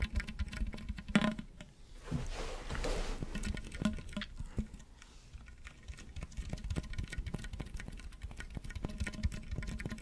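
Fingertips and nails scratch along the ridges of a hollow, ribbed pink corrugated plastic tube held close to the microphone while it is twisted and bent. A dense run of quick, dry clicks and taps sits over a low steady hum near 210 Hz. A softer rustling wash swells briefly around the second and third seconds.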